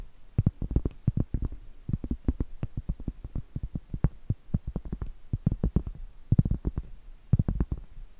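Long light-blue acrylic nails tap and scratch the face of a large, thin, flat, solid round cork trivet held up in the air. The result is a rapid, uneven run of soft, dull, low thuds with almost no ring, mixed with faint scratchy brushing between them.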